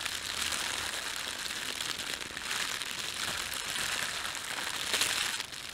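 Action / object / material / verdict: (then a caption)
scrape / thin plastic bag / plastic / none. A thin, red-and-white printed plastic bakery bread bag is crumpled, squeezed and stretched between both hands. It gives a steady, bright crinkling and crackling, concentrated around 3 kHz and above with almost no low end. The sound swells slightly midway, peaks near the five-second mark, then drops quieter at the end.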